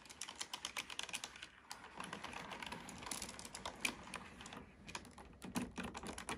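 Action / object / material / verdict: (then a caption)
tap / plastic computer keyboard / plastic / none. Fingertips type steadily on a black plastic computer keyboard, producing a quick run of short, bright plastic clicks with little low end. The keystrokes thicken into a busier patter in the middle, and a brief crossfade into more typing on the same keyboard closes the clip.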